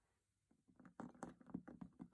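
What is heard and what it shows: A metal box is tapped and knocked by hand in a quick, uneven series. Each tap is a soft, dull thud centered in the low-mid range around 250 Hz that dies away almost at once. The taps start faint after a brief silence and grow louder toward the end.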